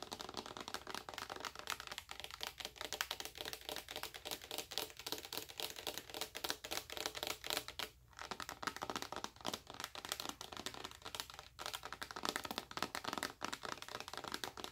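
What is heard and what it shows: Long acrylic nails tap rapidly on the front of a full, clear, rigid plastic bottle of white body lotion, about 600 ml. The result is a dense stream of crisp, bright clicks with almost no low end, each dying away at once. The tapping runs steadily, with only a brief pause around the eight-second mark.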